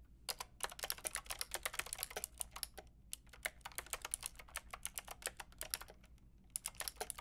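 Long painted nails and fingertips type on a white-pink backlit mechanical keyboard with round plastic keycaps. A quick run of bright, sharp clicking key taps comes with short pauses near the middle and just before the end, each tap dying away almost instantly.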